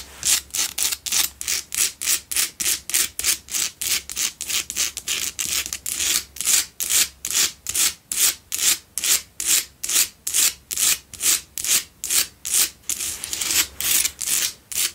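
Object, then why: Salt block candle holder. Long nails scratch rapidly back and forth over the sides and front of a lit pink Himalayan salt double candle holder made of solid salt. Dozens of short, distinct strokes make a steady, bright, dry, gritty rasping with almost no low end, and each stroke cuts off quickly.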